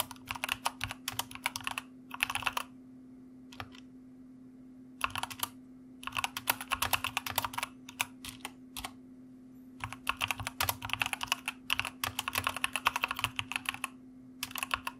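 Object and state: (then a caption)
Mechanical computer keyboard being typed on. Fingertips of both hands type on a full-size white plastic mechanical computer keyboard with a foam wrist rest, while a recorder sits untouched on top. Bursts of rapid, bright, clicky keystrokes come in short runs separated by pauses, over a steady low hum.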